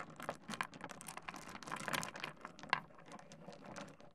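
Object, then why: Small stone pebbles on a wooden desk. Fingertips rake and shuffle a pile of small solid pebbles spread on a wooden desk. The stones click together and against the wood in a quiet, dense, dry patter of bright, short ticks, with one sharper click standing out near the end.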